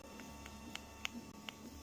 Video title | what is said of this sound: Coil Support Former. | it's a dull thud that's what happens when it's soft so you can tell when it's soft but just by the sound of it